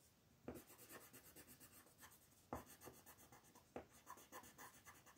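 A wooden colored pencil is rubbed and scratched across a flat paper coloring book page lying on a table, held down by a hand with long white nails. Quiet, rapid back-and-forth strokes make a bright, papery scratching hiss, with a few sharper, louder strokes standing out along the way.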